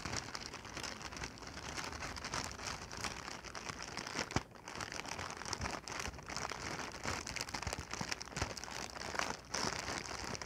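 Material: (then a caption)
Plastic. A clear, hollow, air-filled plastic air-cushion packing pillow of medium size is held in both hands and squeezed and crinkled with the fingertips and long painted nails. The result is a steady, dense crinkling and crackling with a bright, hissy edge, broken by a few sharper snaps and brief quieter moments.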